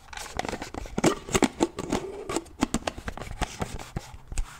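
Fingernails tap and click on the lid of a black plastic shaker bottle as it is opened and closed. A rapid, uneven run of short, dry plastic clicks and taps comes with faint scraping and low hollow thuds around 270 Hz, and each sound dies away almost instantly.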